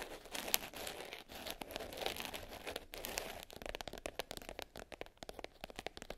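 Long nails scratch and tap the top of a small black glitter-covered hard case lying closed and flat. A dense, bright, crinkly scratching fills the first half, then gives way to a quick run of crisp, dry taps that stop short with almost no ring.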